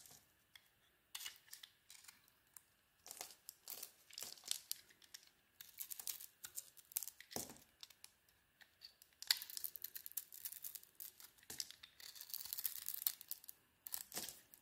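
A metal blade carves a solid zebra-striped soap bar, cutting its white interior into chunks and curls. Quiet, dry scraping and crisp crackling come in dense bursts, bright and thin with almost no low end, each cut stopping short with no ring.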